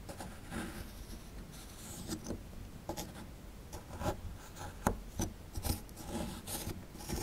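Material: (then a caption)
Plaster. A chisel scrapes the surface of a small, solid plaster fossil dig block around the raised relief. Soft, steady rasping is broken by several sharp, brief scratches and clicks, with a dry, close sound that carries little ring.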